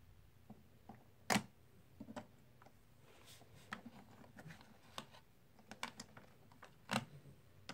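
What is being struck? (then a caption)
Plastic/clay composite poker chips. Fingertips lift and stack solid plastic/clay composite poker chips from stacks in a white tray, so the chips click against one another. Short, bright, dry clicks come at irregular intervals over a quiet background, with two louder sharp clacks standing out.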